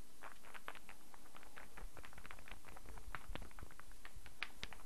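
A solid light-wood star burr puzzle, an interlocking puzzle held in both hands, is tapped by fingertips and nails while its pieces click. The result is a quiet, steady stream of rapid, dry wooden taps and bright little clicks over a low, soft rumble.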